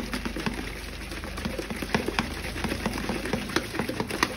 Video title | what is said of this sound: Jeito Certo para Descascar Ovos!! | sacudir até a gente ouvi um barulho de trincado né que ele vai se rachar não precisa fazer muita força